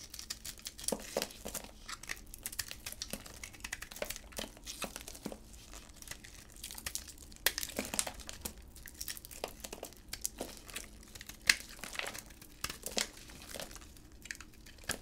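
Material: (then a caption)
Soap. A solid teal bar of soap with a glossy pink embossed coating, held in black gloves, has its coating scraped off with a utility knife before the bar is cut. The sound is a quiet, bright stream of dry crinkly scraping and crisp cracking scratches that comes in bursts throughout.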